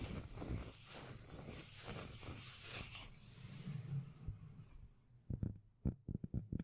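Long nails scratch the textured surface of a flat, solid, palm-sized round cork lid held close, making rhythmic, bassy rasping strokes over a deep low rumble. The scratching fades to a quieter rustle, then several short, dull, thumping taps close the clip.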